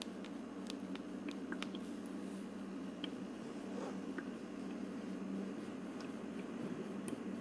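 Long purple nails tap and scratch the frosted translucent plastic dome of a teardrop-shaped ultrasonic aroma diffuser, about 20 cm tall and hollow with a faux-wood plastic base, while it is lit and misting. Light, crisp clicks and soft scratches are scattered over a steady low hum, and the overall level stays quiet and even throughout.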